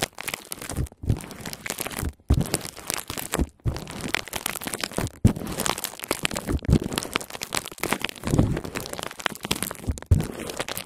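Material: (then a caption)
Plastic. A clear plastic bubble wrap sheet lying flat over a recorder is scratched and rubbed with long painted fingernails. The result is a close, continuous crinkling and scratching texture with a dull, low-heavy body, broken by a few brief silent pauses.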